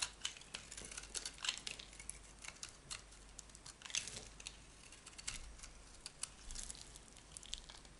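A metal knife blade shaves and scrapes thin flakes from a solid oval yellow Camay soap bar held in hand. Quiet, dry, crinkly scraping comes in a steady run of short, bright strokes with sharp little peaks and almost no ring.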